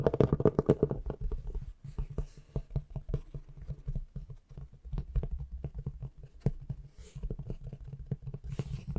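Long nails and fingertips tap and scratch the embossed, patterned cover of a large, thick, solid antique hardcover book held close to the microphone. The result is rapid, irregular, dull low thuds mixed with soft scratching, loudest in the first second and quieter afterward.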